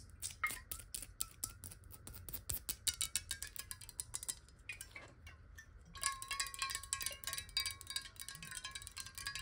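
Long nails tap rapidly on the side of a clear square glass bottle of water held horizontally above a table. Quick, bright clicks each carry a short glassy ring. The tapping pauses briefly, then resumes denser and louder with a steady ringing tone underneath.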